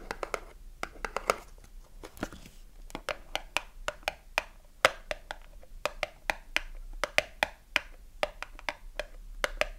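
Long nails tap and scratch the front, side and top of a small cardboard soap box with a bar of soap inside. About thirty crisp, dry taps sound at an uneven pace, some fast and some slow, with a hollow knock around 550 Hz and bright clicky edges that die away almost instantly. Softer scratching rustles between the taps, over a quiet background.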